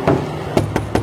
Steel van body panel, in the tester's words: yang seperti ini masih kaleng nih bunyinya